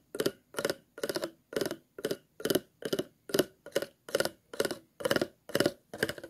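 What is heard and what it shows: A thin plastic stick is scratched across the grooves of an empty, hollow, clear ridged plastic water bottle with a green label. Fourteen short, evenly spaced strokes each rattle over the ridges as a quick run of dry, bright clicks with a hollow midrange body. Each stroke stops cleanly before the next.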